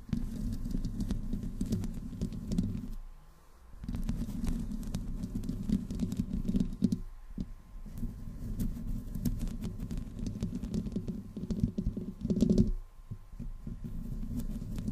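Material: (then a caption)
Metal. Long nails slowly scratch the metal mesh grille of a black desktop microphone without a windscreen and slide down its metal body. The result is a dense, close, rumbling scrape centered low around 200 Hz, with faint brighter scratchy edges. The sound drops out briefly near 3, 7.5 and 13 seconds.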